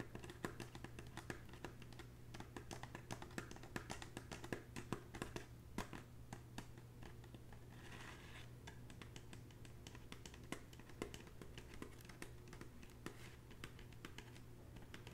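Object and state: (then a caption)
Woven straw bag tapped with fingernails. Long bare nails rapidly tap the braided straw of a hollow red woven straw bag, making quick, soft, typing-like clicks. The bright, dry taps stop almost instantly, over a steady low hum.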